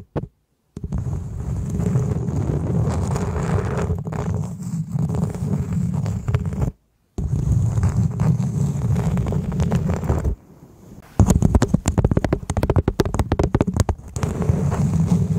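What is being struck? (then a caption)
Coconut shell half. Long acrylic nails from both hands scratch and tap a hollow coconut shell half set dome-up over a fluffy microphone cover. The result is a deep, muffled, rumbling scrape, mostly low-pitched and broken by short silences. Near the end it turns into sharper, quick knocking taps.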